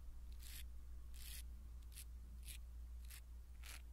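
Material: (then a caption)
Foam. A blue silicone-bristle ear pick scratches and brushes across a small black foam windscreen on a pin microphone. Short, bright, scratchy rustling strokes repeat at an uneven pace over a steady low hum.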